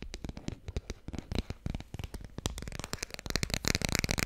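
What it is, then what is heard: Cardboard board book tapped with nails. Long red-painted nails tap quickly on the cover and edges of a small, thick, solid children's board book with glossy laminated cardboard pages, held close to the mic. A rapid stream of short, dry clicks and taps, each with a low, soft thump beneath a bright tick, grows denser, louder and brighter toward the end.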